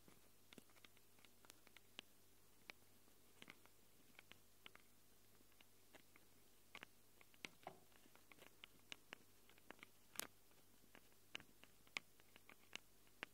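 Long acrylic nails scratch both metal-rimmed X/Y microphone capsules on a small handheld Tascam recorder with a black plastic body. Dozens of quiet, sharp, bright scratches and ticks sound close up, each dying away instantly, over a faint steady low hum.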